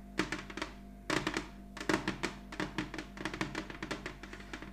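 Long nails of both hands tap a large, glossy red heart-shaped ornament, likely ceramic, lying flat on a cloth-covered table. The result is quick, irregular bursts of short, bright, clicky taps with a hollow thunk and almost no ring, over a faint steady low hum.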